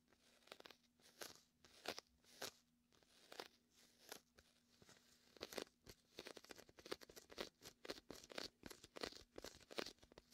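Fingertips rub and peel across the sticky vinyl surface of a large, hollow, air-filled red and white inflatable PVC beach ball sitting to the left of the mic. The result is a quiet, rapid series of short, dry crackling and tacky peeling snaps with bright highs and very little low end, irregular at first and then denser toward the end. A faint steady low hum runs underneath.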